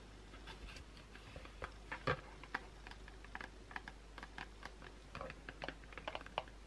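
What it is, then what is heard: Cardboard soap box tapped and scratched with nails. Long pointed blue acrylic nails tap and scratch the top and sides of a small closed white Dove cardboard box holding a soap bar, resting on a towel. A quick, irregular series of dry, light clicks and short scrapes, like typing, sounds over a faint steady low hum, with the loudest tap around two seconds in.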